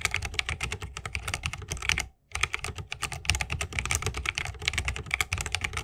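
Both hands type continuously with the fingertips on a 60% mechanical keyboard with Holy Panda switches, a bamboo case and plastic keycaps. The result is a dense run of short, bright clacks over a low thock, with one brief pause a little past the two-second mark.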